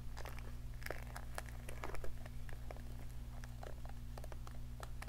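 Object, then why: Plastic round hair brush bristles. A round hair brush with a pink plastic handle, vented barrel and plastic bristles is held close to the microphone while long nails scratch and flick its bristles. Rapid, crisp clicks and crackles patter irregularly over a steady low hum, with a slightly louder cluster around the two-second mark.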